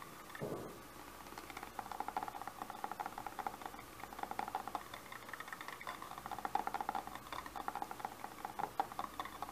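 Fingertips and short nails tap and scratch the surface of a medium-size Bissell handheld vacuum with a grey body and a hollow clear plastic dust canister. The result is a quiet, steady stream of quick, dry clicks and scratchy rubs with a hollow plastic ring. A soft low thump comes near the start.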